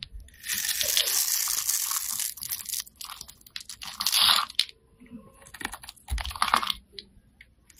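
A solid bright green bar of soap, held in the hand, is scraped with a utility-knife blade into small cubes. Dry, crisp crunching and scratching scrapes fill the clip, with a long steady scrape early on, then shorter bursts. The sound is bright, with almost no low end.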